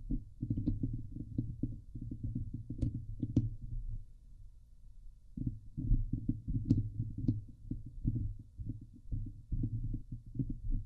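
Both hands scratch the hollow woven steel mesh dome grille of a Blue Yeti microphone with long glittery painted nails, producing a dense, boomy, low-heavy scratching and rubbing texture. Occasional sharp, bright clicks cut through. The scratching thins to a quieter rumble for about a second before resuming at full intensity.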